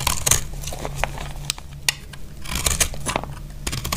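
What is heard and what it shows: A utility blade scrapes across a solid, dry pink soap bar and cuts off crumbly pieces. Bright, crisp scraping and crunchy snaps come in quick bursts over a steady low hum, and each cut ends almost at once.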